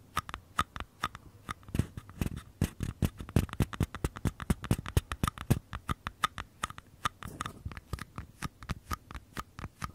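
Fingertips tap and scratch the outer walls of two identical small, empty, hollow paper cups held sideways. Dozens of quick, dry taps land in a steady, uneven patter, each a short hollow thump with a low body and a crisp click that dies away almost at once. Soft scratchy rustling fills the gaps between them.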